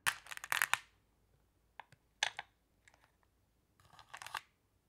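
Hands with long blue nails press, rub and scratch across a pile of small, solid, flat glass pebbles in a round wooden tray, making them shift and clack together. Short bursts of bright, crisp clicking and rattling come in clusters separated by near-silent pauses, with a final rustling shuffle toward the end.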